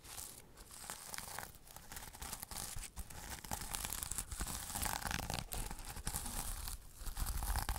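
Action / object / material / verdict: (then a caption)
scrape / flat pouch covered in plastic sequins / plastic sequins / none. A flat sequin-covered pouch has its sequins brushed and scratched with fingernails. The result is a continuous, irregular rustling and scraping with bright, papery crinkles and a low rumble underneath.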